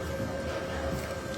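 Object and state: Nothing is struck.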